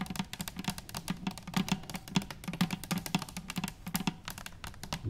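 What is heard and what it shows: Long nails tap rapidly on top of a hollow stainless steel cylinder canister lying on its side on a wooden table. The quick, clicky taps have bright metallic edges over a low, hollow tone near 190 Hz. Each tap dies away almost at once.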